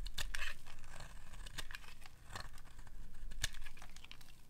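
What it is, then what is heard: Dry bar soap being scraped. A metal blade scrapes along the end of a dry pink bar of soap, shaving off pink curls. Repeated dry, crackling scrapes and crunches sound over a faint low hum.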